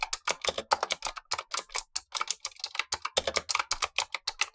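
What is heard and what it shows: Gloved fingertips type continuously on a black tenkeyless Razer Huntsman V2 mechanical keyboard with clicky switches and plastic keycaps, while a second keyboard above sits idle. About 28 quick, sharp clicks follow in a steady stream, bright and crisp with almost no low end and very short decay.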